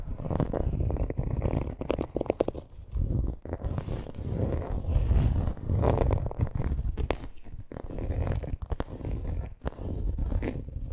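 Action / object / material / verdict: scrape / coated canvas handbag / coated canvas / none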